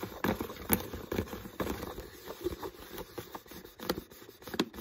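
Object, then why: Plastic water bottle. Fingertips tap and scratch the body and shoulder of an empty, hollow, clear PET water bottle with a dark green label and no cap, held close up. Soft, hollow plastic taps with a low resonance are mixed with brief crinkly scratching that dies away almost at once, all at a quiet level.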